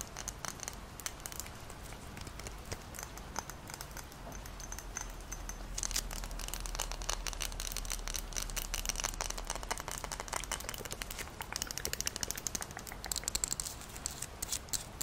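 Long nails tap and scratch a hand-held glass jar of Moccona instant coffee, full of granules, with a plastic lid and a paper label. Dense, bright clicks and crinkly scratching run throughout over a steady low hum, growing a little busier and louder after the first few seconds.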